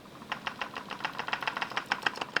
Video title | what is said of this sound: How to TEST & Buy CAMERA GEAR - Making sure it's SHARP & You are getting a GREAT DEAL! | if i shake it you can hear a little sound but that's just the ibis in the camera that's also a little bit loose so that's also not a cause for concern